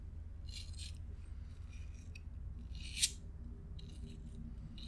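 A small pink BIC plastic disposable lighter, hollow with a metal hood and spark wheel, is handled as a thumb rolls the metal wheel and long nails rub and scratch the plastic body. Soft, bright scratchy rasps come in short bursts over a steady low hum, with one sharp, crisp click from the wheel near the middle.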